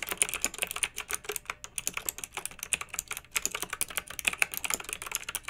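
Fingertips with long nails type steadily on a pink backlit plastic mechanical keyboard with round typewriter-style plastic keycaps. Dense, bright, clacky keystrokes come in a quick continuous rhythm, each click short and crisp with almost no low end.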